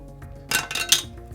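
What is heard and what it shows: A stainless steel X1 credit card is dropped as the first card in a credit card drop test. It lands with three quick, bright metallic clinks that fade almost at once.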